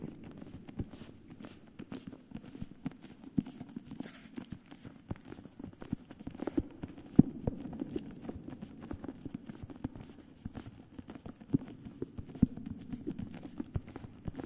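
Fingertips and nails tap and scratch the plain paper back cover and edges of a hardcover book with a paper dust jacket. A busy, irregular stream of soft, dry taps with almost no ring sits mostly in the low mids, with faint papery scratching in between.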